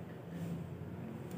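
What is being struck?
Nothing is struck.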